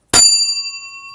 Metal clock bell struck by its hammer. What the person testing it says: un beau timbre et c'est certainement la cloche d'origine de très belles qualités